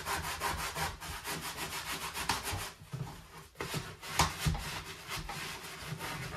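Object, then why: Plastic dish drainer rack. A gloved hand scrubs the slotted plate section of an empty white perforated plastic dish drying rack, held upright on the drainboard, with a sponge. Rhythmic, bright, hissy rubbing strokes run throughout with a low scraping undertone, dipping briefly a little past the midpoint before a sharper, louder stroke returns the steady scrubbing.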